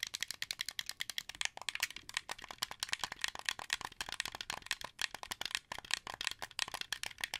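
Fingers click the triggers and tap the face buttons of a translucent blue, hollow plastic wired Xbox 360 controller. The result is a rapid, steady run of sharp, dry plastic clicks and taps, bright and light with almost no low end and no ring after each hit.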